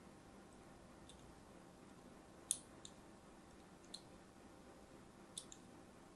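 A thin blade scores lines into a solid, palm-sized pink-and-white striped soap bar held in the hand. Sharp, bright scratching clicks come at irregular intervals over a quiet, steady background hiss, each cut dying away almost instantly.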